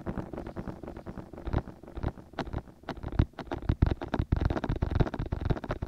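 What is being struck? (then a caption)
Silicone ear of a binaural microphone. Fingertips and short nails tap and rub the two soft white silicone ear-shaped pieces of a 3Dio binaural microphone. The result is a dense, fairly steady run of muffled, deep thumps with very short decay, mixed with scratchy rubbing and occasional brighter clicks.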